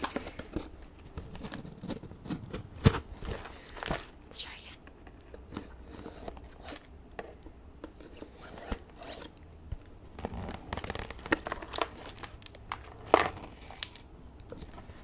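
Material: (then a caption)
Cardboard. Extra long acrylic nails tap and scratch the printed surface of a medium cardboard toy kit box, which is hollow, apparently full and held in one hand. Short, dry clicks and brief scraping strokes come in an irregular run over a quiet low background hum, with sharper taps near 3 and 13 seconds.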